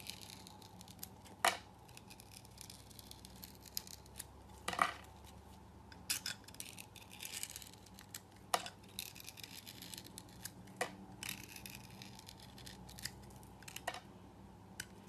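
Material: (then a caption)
Soap. A utility knife blade peels long strips from a solid, hand-held rectangular orange soap bar with a pink gritty coating. The clip is a quiet, continuous crisp scraping and crackling with a faint steady low hum underneath. Sharper, brighter snaps stand out at irregular intervals as strips break or the blade catches.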